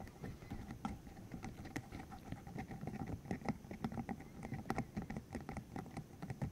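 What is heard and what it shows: A green, hollow silicone cylinder about 15 cm long, covered in rubbery spikes, is held in the hands while its spikes are flicked, squeezed and rubbed with the fingertips. The result is a dense, quiet patter of quick, soft, bassy taps and rubbery flicks with almost no ring, plus occasional brighter ticks and faint squeaky tones.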